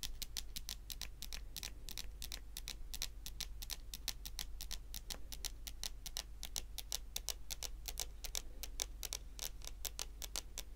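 Long nail tips tap a solid, dark wood-grain tabletop in a steady, ticking rhythm of short, dry, bright clicks that die away almost instantly. A constant low hum sits underneath the clicks throughout.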